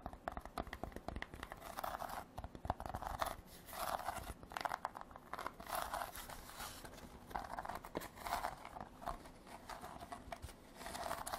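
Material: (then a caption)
Rattan. A woven rattan basket is tapped and scratched with artificial nails. Quiet, dry, crackly rasps and clicks come in repeated bursts with a papery, crinkling texture and almost no ring.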